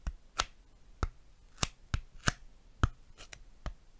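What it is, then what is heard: Styrofoam tapping. A piece of styrofoam is tapped and handled close to a microphone, giving nine short, dry taps at an irregular pace. Each tap has a soft low thump with a brighter crisp click on top and dies out almost instantly.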